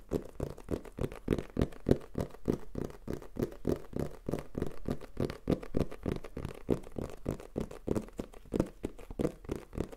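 A black printed Tascam cardboard box is held in the hand and tapped and scratched with fingertips and nails. The result is a rapid, uneven patter of short, dull, hollow taps centered low around 250 Hz, with soft scratching between them. Each tap dies away almost instantly with no ring.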